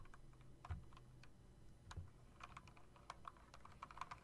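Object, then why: Plastic and metal mechanical keyboard. A typewriter-style mechanical keyboard with RGB backlighting, round chrome-rimmed plastic keycaps on a metal plate and a hollow housing is typed on rapidly by fingertips with long nails. Quick, light clicks ring out in an uneven stream, with two heavier low thumps early on, over a steady low hum.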